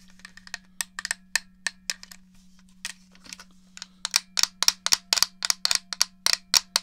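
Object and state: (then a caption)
Plastic game controller. Fingertips and long nails tap and rub the shell of a black and silver hollow plastic GameCube controller held close to the mic. The taps are sharp, bright plastic clicks with almost no ring, over a faint steady low hum. They start soft and scattered, then grow louder and come in a quicker, steadier run toward the end.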